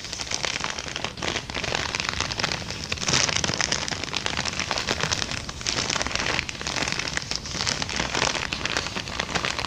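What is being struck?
Empty kraft paper bag.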